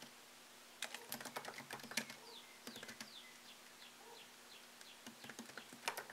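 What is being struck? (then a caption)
Laptop keyboard, plastic keys in a metal body. Fingertips type on a MacBook Pro laptop keyboard with plastic keycaps set in an aluminium body. Quick, crisp, bright key clicks come in short bursts separated by brief pauses, each click dying away almost instantly. A faint, steady low hum runs underneath.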